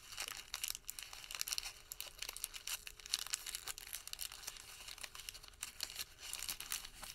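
A white thermal paper receipt is crumpled into a wad and squeezed between the fingertips. A steady stream of quiet, bright, crisp crinkles and crackles fills the clip, rising and falling in small bursts for about seven seconds with almost no low end.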